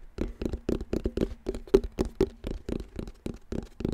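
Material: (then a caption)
Plastic. Fingertips tap and patter on the hollow black plastic back panel of a round wall clock, giving about 17 quick, uneven taps over four seconds. Each tap is a short, dull, hollow knock with a low-mid resonant tone that dies away almost at once, with little high-end brightness.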